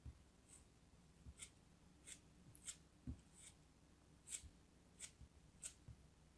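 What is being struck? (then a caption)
Piece of kinetic sand cut with a metal craft knife. A small solid blue chunk of kinetic sand held in the fingers is cut and scraped with a pointed metal craft knife. Soft, quiet, bright scratchy strokes come at a steady pace, with faint low thumps between them.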